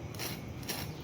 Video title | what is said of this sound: 10 min में बनाएं कुरकुरा और स्वादिष्ट नाश्ता - crispy corn cutlet | It is absolutely extra crispy and crunchy.